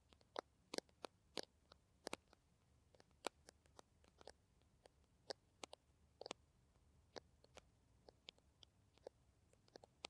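Long nails tap a small green plastic Kamill hand cream tube in an irregular run of about two dozen quiet, sharp clicks. Each tap is brief and bright with almost no ring, over a faint low background hum.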